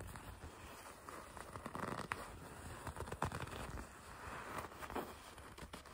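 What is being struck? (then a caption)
Leather jacket. Long red nails grip, pinch and scratch the black leather section of a racing jacket. The result is a quiet, continuous run of soft creaks, crinkles and scratchy rubbing, with a few brief sharper scrapes and mostly mid-range tone.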